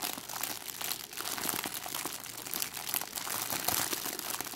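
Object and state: Crinkled cellophane bag.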